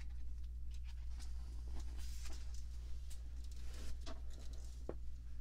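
Long manicured nails and fingertips rub and scratch across the thin glossy paper pages of an open fashion magazine lying on a table, lifting pages to turn them. Soft, bright scratchy rustles and light ticks come and go over a steady low hum that stays constant throughout.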